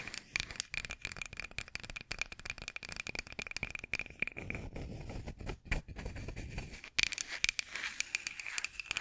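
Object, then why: Wooden rolling pin. A long, solid light-wood rolling pin with handles is held horizontally and tapped and scratched with long acrylic nails. Rapid, bright clicking taps mix with crinkly scratching, and a steady faint tone sits near 2.4 kHz. Around the middle the sound turns to a fuller, continuous rubbing scrape before the sharp taps return.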